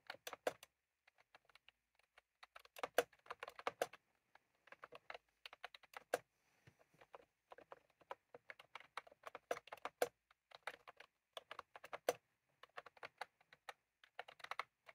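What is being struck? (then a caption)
Plastic computer keyboard with round keycaps. Fingertips of both hands type continuously on a full-size plastic computer keyboard with round cream typewriter-style keycaps, resting on a desk. Quick, dry key clicks come in bursts separated by brief pauses, each tap crisp and short with a light midrange knock and no ringing tail.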